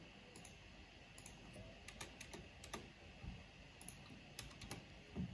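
One hand with long nails slowly presses the black plastic keycaps of a backlit mechanical keyboard with its fingertips. Sparse, short, bright clicks are spread irregularly over a steady low background hiss, with a slightly louder press at the end.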